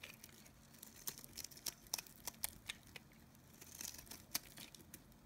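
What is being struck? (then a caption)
Bar of soap. A utility knife blade shaves a solid, oval, white-cream dry bar of Nevskaya Kosmetika soap held in the palm. Quiet, bright, dry scraping and crumbly crackles come in a string of short, sharp cuts with almost no ring, over a faint low hum.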